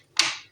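A silicone mold filled with white chocolate is tapped once, giving a short, bright click with a quick ring. The changed tapping sound shows the white chocolate has set and is ready to unmold.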